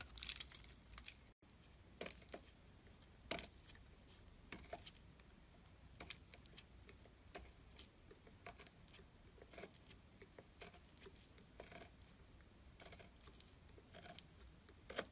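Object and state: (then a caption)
Soap bar being carved. A pointed metal carving tool scrapes the edge of a solid, rectangular gray glittery soap bar held in the hands, shaving it into flakes. Quiet, bright, crisp scraping crackles and clicks repeat throughout over a soft, hissy background, with a brief drop to silence early on.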